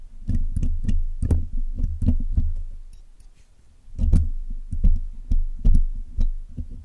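A steel hook pick and steel tweezers pick and scrape at the black hollow metal wire mesh grille of a Blue Yeti microphone, apparently while cleaning it. Rapid dull, boomy thumps with faint bright ticks on top, easing into a quiet pause midway before the picking resumes.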